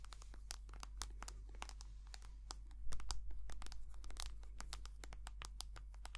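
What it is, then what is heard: Soft plastic cream tube. Long nails tap and scratch a white soft plastic cream tube, making a fast, uneven run of sharp, bright clicks and crinkly scratching. A steady low hum sits underneath, and the scratching grows briefly louder around the middle of the clip.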